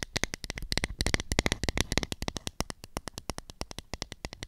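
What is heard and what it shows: Long nails tap and scratch the rim and mirror lid of a round, pink, palm-sized hollow plastic kids' toy makeup compact with its lid tilted open. About three dozen quick, dry clicks sound with bright ticks and short scraping crackles between them, each dying out almost instantly.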